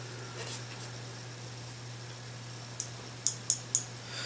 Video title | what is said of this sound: How to Field Strip and Clean an AK-47 | you want to make sure that your firing pin floats free. So when you shake it, you want to hear that clicking sound